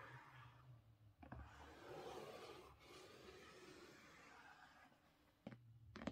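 Fingernails scrape back and forth across a hard book cover, making a broad, grainy hiss. A few short, muffled taps stand out near the start and end, dull with no ring, as the stiff board deadens each hit. Quiet room.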